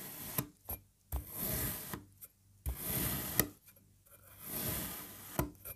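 A serrated knife slices a solid, green, puzzle-shaped block of kinetic sand into parallel strips. Each slice makes a soft, gritty, crumbly scraping sound with a quick tap as the blade bites in, separated by near-silent pauses. The sound is quiet and mostly low, with a faint bright hiss.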